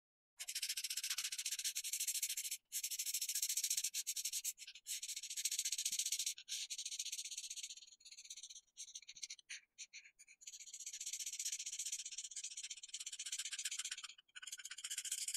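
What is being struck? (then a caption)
Felt-tip marker on paper sheet. A felt-tip alcohol marker held in the hand rubs back and forth across a flat white paper sheet, coloring a printed letter Y outline green. It makes a soft, bright, hissy scratching with rapid, uneven strokes that run in long stretches, broken by brief pauses as the marker lifts. Almost all of the sound sits high, with no low end.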